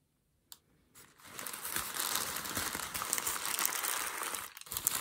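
A sheet of light grey-beige packing paper, formed into a hollow loose ball on a white desk, is crumpled and squeezed with fingertips and palm. After a short silence and a faint tick, a dense, bright crinkling builds and carries on steadily, dips briefly near the end, then returns in a few sharper crackles.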